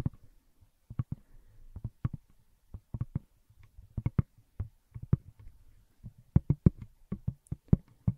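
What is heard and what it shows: Long nails tap the textured back of a pink glitter plastic smartphone case held up close to the microphone. About 21 short, dry, hollow taps fall in an irregular rhythm. Each is low and soft with almost no ring, separated by near-silence.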